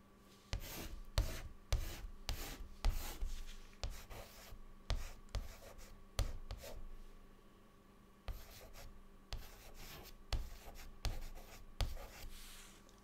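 A white chalk stick writes words on a large, flat, solid dark chalkboard, making a series of short, dry scratching and rubbing strokes with bright, gritty edges and quick pauses between them. A faint steady hum runs underneath throughout.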